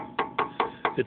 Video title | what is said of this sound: Pack Wheel Bearings 1994 Ford F150 2WD Pickup: Part 14 | you'll hear it when you go around it's nice and solid